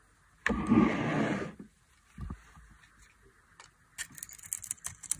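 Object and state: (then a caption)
Dry soap bar being shaved. A metal knife blade shaves a solid, dry orange bar of soap held in the hand, carving off curls of soap flakes. A long, rough scrape of about a second comes first, followed by a shorter scrape. The clip ends with a run of crisp, bright, crackling flicks as the soap flakes off.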